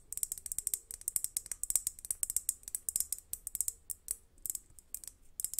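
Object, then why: Crackled glass globe lamp. A large hollow crackle glass globe lamp with fairy lights inside, resting in front of a microphone, is tapped and scratched with long nails. The result is a quick, uneven run of quiet, sharp, bright clicks and ticks that die away almost instantly, with very little low end.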